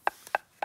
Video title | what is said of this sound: Kroatiens Süden: Dalmatien, Split und Dubrovnik an der Ostküste der Adria - Wunderschön - ARD Reisen | wenn der Stein an einer Ader im Inneren gebrochen ist, dann klingt er anders.